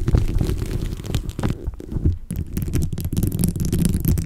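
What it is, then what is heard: Bead-covered microphone cover. Long blue-tipped nails of both hands tap and scratch a rounded microphone cover coated in colorful glossy plastic beads. The result is a dense, muffled rumble of close crackling and clicking, heavy in the low end. It dips briefly near the middle before resuming.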